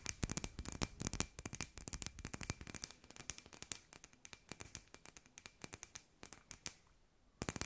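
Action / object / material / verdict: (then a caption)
tap / hand-sized glass sphere with lights inside / glass / none. Long nails tap a hand-sized hollow glass sphere with fairy lights inside, making rapid, short, bright clicks that come in quick bursts with almost no ring. A faint steady tone sits under the taps, which slow and thin out before a brief pause and a final cluster at the end.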